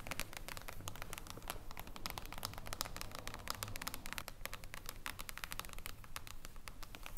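Long acrylic nails tap rapidly with several fingers on a flat hardcover book with a reflective silver mirror-foil cover lying on a table. Quick, sharp, bright clicks fall in an uneven, steady stream over a low rumbling background. Each tap dies away almost at once.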